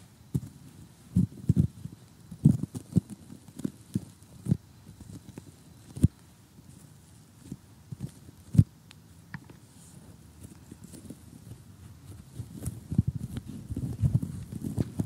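Short, polished fingernails tap on a glossy cardboard jigsaw puzzle of colorful houses lying flat, heard very close up. The taps are quick, dull and low, with almost no ring, landing in an irregular stream of soft clicks and knocks. Toward the end they turn denser and steadier into a faint crunchy patter.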